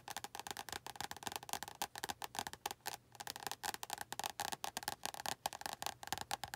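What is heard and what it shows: Long nails tap rapidly on the glossy card front cover of an orange and yellow paperback, "100 Words Every Middle Schooler Should Know," held upright as a solid paper block. The taps are quick, dry clicks with almost no ring, centered around 780 Hz with bright upper edges and little low end. A brief pause falls near the middle.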